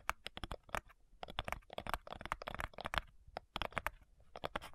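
Long nails tap quickly on the front side of a flat, light, hollow wooden cigar box, then move to tapping its lid. The clicky, dry taps come in uneven rapid bursts, each dying away almost instantly with a bright, hollow tone centered near 1.5 kHz.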